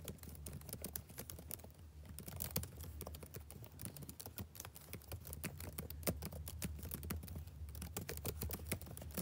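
Fingertips type rapidly on the plastic keys of a backlit laptop keyboard, producing quick, irregular light clicks and taps with short, bright attacks that die out almost instantly. A steady low hum sits underneath the continuous patter of keystrokes throughout.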